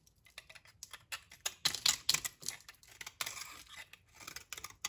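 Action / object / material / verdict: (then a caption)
scrape / bar of soap shaved with a knife blade / soap / none. A utility knife blade shaves crumbly layers off a solid, dry brown soap bar held in the hand. The cuts make a series of quick, crisp, crunchy scrapes and clicks that are bright and dry, with almost no low end. Each shave stops sharply with no ring.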